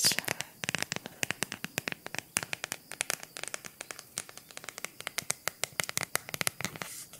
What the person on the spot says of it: Una cover in silicone, molto semplice.